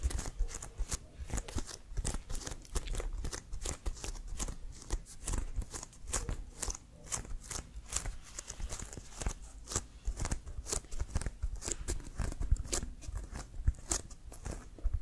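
Fingertips and nails tap quickly on the pebbled surface of a full-size, inflated, hollow Wilson leather American football with white laces and stripes, held in both hands. The result is a steady run of short, dry taps with a low, hollow thump under each and a bright clicking edge from the nails, each hit dying away almost at once.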